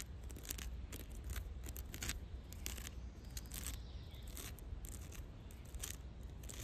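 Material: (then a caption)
Wood bark. Long dark red nails scratch and tap the rough grey lichen-covered bark of a large solid fallen log lying in grass. Quick dry, bright ticks and scratchy rasps come in a busy, uneven run over a steady low rumble, each tap dying away almost at once.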